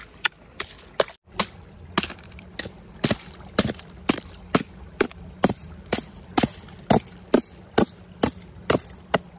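A thin, frosted ice sheet over rocks at a stream edge, solid and brittle, is struck repeatedly with the metal head of a wooden-handled claw hammer. Sharp, bright cracking knocks come in a steady, slightly uneven series over a faint low background hum, each one dying away almost instantly. The ice cracks and breaks under the blows.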